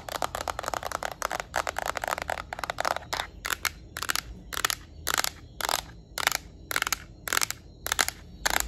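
Long nails scratch and tap on the plastic back of a yellow Nintendo Switch Lite, producing dry, bright clicks and scrapes. A rapid, dense flurry for the first three seconds gives way to short, evenly spaced bursts of tapping. A faint low hum runs steadily underneath.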